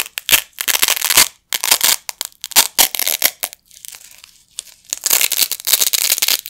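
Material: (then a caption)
Nylon. A pair of small, flat, blue nylon hook-and-loop Velcro patches is held in both hands by the fingertips over a carpet and ripped apart repeatedly. Bursts of bright, rasping tearing follow one another, some quick and some drawn out, with brief silences between pulls. The sound is almost entirely high-pitched crackle with no low end.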